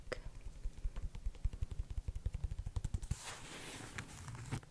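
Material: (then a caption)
Canvas. A low-top white canvas sneaker with a rubber sole and laces, hollow and empty, is held up in both hands and tapped and scratched with long nails on the canvas upper and the sole. A quick run of soft, dull, low thumps fills the first three seconds, then gives way to a bright, hissy scratching that fades near the end.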